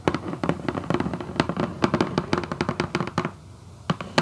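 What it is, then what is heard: Cardboard shoebox lid. Long acrylic nails scratch and tap across a hollow, red Vans cardboard shoebox lid. The result is a fast, irregular run of dry, short clicks with a low hollow body and a faint scratchy rustle between them. The taps pause briefly near the end before a few last sharp ones.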